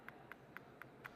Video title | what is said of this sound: Mini Dental Implants - LIVE IMPLANT SURGERY - Dr. Todd E. Shatkin | I like to tap on these with the back of a mirror handle I don't know if you can hear the tapping or not but they're in solid bone